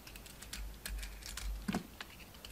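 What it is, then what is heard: Soap bar being scraped with a blade. A utility knife blade scrapes a solid orange oval soap bar held in the hand, and chunky shavings come off. A quick run of dry, crisp scraping crackles with bright edges plays over a low, steady hum, with one louder scrape near the end.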